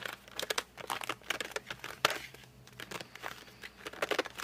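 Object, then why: Glossy cardboard pencil box. Fingertips grip, rub and drag across the glossy front of a flat cardboard colored pencil box. The result is a quick run of short, bright squeaks and crinkly scrapes. Some strokes carry a faint squealing tone, with soft pauses between them.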